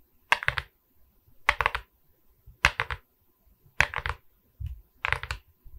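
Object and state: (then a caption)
Diamond painting resin beads on wooden board. Long red nails tap and scratch across the resin beads of a diamond painting on a wooden canvas board. Five quick bursts of sharp, bright clicks and scrapes come at a loose rhythm, each dying away at once, with soft low thumps between them.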